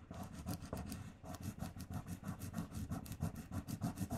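Fingertips and nails rub and burnish a paper "LOVE" sticker onto a flat pink paper sheet held down by the other hand. The result is a quiet, steady series of quick, dry rubbing strokes with a soft low-heavy scratch.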